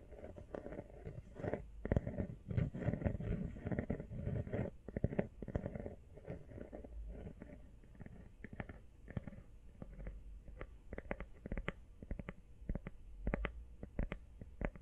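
An empty, small, hollow teal rubber iPhone case is held up and tapped rapidly with long nails and fingertips. The result is a dense stream of soft, muffled, low thuds that are busiest in the first half. Later the taps thin out into sparser, sharper clicks.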